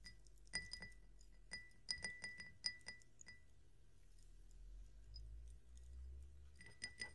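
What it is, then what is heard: Drinking glass. A drinking glass is tapped, giving clear, bright clinks that ring briefly with a steady tone near 2 kHz. The taps come in clusters at the start, middle and end. A soft, low fizzing rumble fills the quieter stretches between them.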